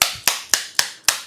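A marker pen is tapped five times, giving short, sharp, bright clicks with a high pitch and almost no ring. The taps are evenly spaced, with nothing heard in between.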